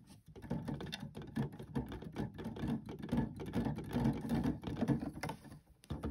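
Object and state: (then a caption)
Plastic electronic keyboard keys. Fingertips press and tap the plastic keys of an electronic keyboard, producing a quick, uneven run of soft, low clacks. Each clack dies away almost at once, with little bright content.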